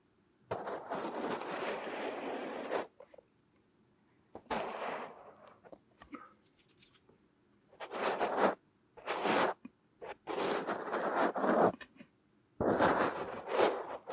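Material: Kinetic sand.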